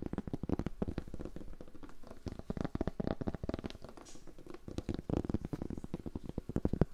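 Fingers tap and scratch across a cork board in a steady ASMR flurry of soft, dry, closely spaced taps. Each tap is a short, muffled thud that dies out almost instantly, with most of the energy low and only faint scratchy brightness above.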